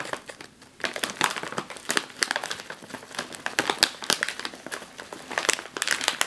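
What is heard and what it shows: A sealed, metallized foil snack chip bag is gripped, squeezed and crinkled in one hand. It gives off dense, bright crackling and crinkling in quick, sharp bursts with almost no low end, after a brief quieter moment near the start.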